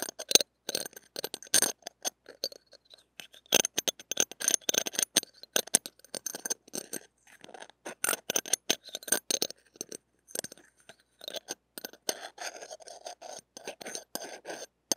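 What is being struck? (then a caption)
Stainless steel wire-mesh microphone grille. A flat, knife-shaped stainless steel spatula blade scrapes across a small, hollow steel wire-mesh mini microphone grille. The result is a run of short, bright, scratchy bursts with a metallic, glassy clink, separated by brief silences. The sound has almost no low end and dies away almost instantly after each stroke.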